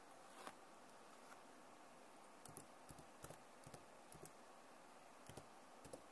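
Long nails and fingertips tap on the keys of a backlit plastic laptop keyboard, making soft, sharp clicks scattered irregularly, some in quick pairs. Each click is short and dry over a faint steady hiss, and the overall level stays quiet.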